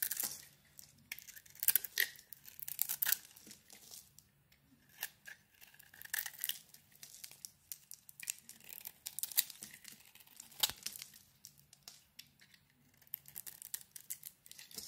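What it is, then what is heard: Soap bar being carved. A metal blade carves and scrapes a solid green hand-wash soap bar with a yellow core. Crisp, dry scraping and shaving strokes come in quick bursts, bright and papery, with quiet pauses between them.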